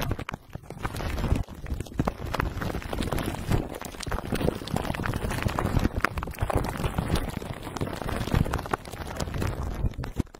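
Fingertips of both hands tap and rub the clear plastic cling film wrapped around the hollow metal mesh dome grille of a black microphone. The result is a dense, continuous stream of close, muffled crinkling and soft thumping taps, heavy in the low end with quick, dry attacks and almost no ring.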